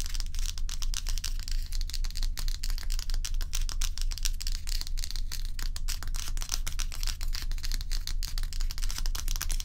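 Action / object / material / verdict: scrape / large ice block / ice / none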